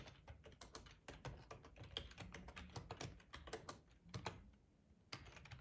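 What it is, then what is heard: Plastic computer keyboard being typed on. Fingertips tap quickly on the keys of a black plastic split ergonomic keyboard with a hollow body. The result is a fast, uneven run of short, dry clicks with a low, thuddy body and very little ring. The typing eases into a brief quiet stretch near the end, then picks back up.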